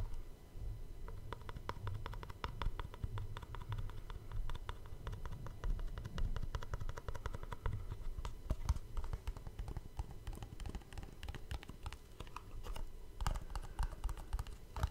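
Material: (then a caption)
Cardboard. A small, hollow black cardboard gift box that looks empty is held in one hand in front of a microphone while fingertips and short nails tap and scratch its sides and top. The result is a steady, rapid stream of short, dull taps with a low, hollow thump, mixed with quick bright clicks and scratchy strokes.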